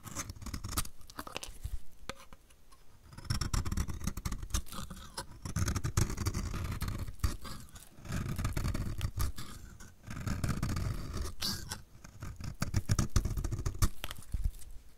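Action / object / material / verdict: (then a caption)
scrape / soap bar scraped with a blade / soap / none. A utility knife blade scrapes a solid, hand-sized dry blue soap bar held in the hand, shaving off flaky curls. Short crackly ticks at the start give way to a series of longer, dense scraping passes with a low, rough rumble and brittle snaps throughout.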